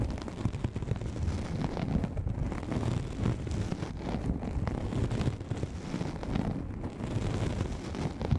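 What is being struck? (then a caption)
Nylon fabric lens pouch. A hollow, soft black nylon fabric lens pouch, pulled over the microphone, is scratched and lightly tapped with the long manicured nails of both hands. The result is a dense, continuous, muffled rumble of scratching and soft thumps, heavy in the low end with almost no high treble.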